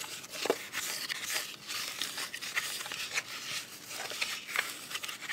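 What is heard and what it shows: A small, closed, black hollow glasses case with a soft plastic covering is held flat and then upright while long white acrylic nails tap and scratch across its faces. The result is a steady, bright, dry scratching texture with no low end, broken by light, quick tapping clicks that die away almost instantly.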